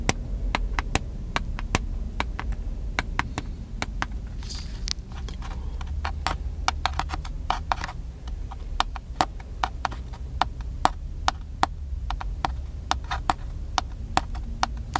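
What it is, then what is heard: Plastic camcorder. Fingertips tap the side and top of a small black handheld plastic camcorder with a cable attached. The result is a long, uneven series of sharp, dry plastic clicks that die away almost instantly, over a steady low rumble.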